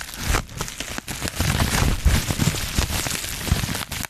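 A small crumpled sheet of clear plastic bubble wrap with air-filled bubbles is held in both hands in front of a foam-covered mic while fingertips squeeze and pop the bubbles and crinkle the plastic. A dense, continuous crackle of crinkling plastic mixes with soft, low thumpy pops and bright rustling throughout.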